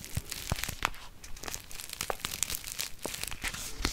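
A small flat kraft-paper instant soup sachet is held up and crinkled and scratched with long fingernails. Dry, papery crackles and sharp scratches follow one another in quick, uneven bursts. The crinkles are bright and crisp, with a soft low rustle underneath.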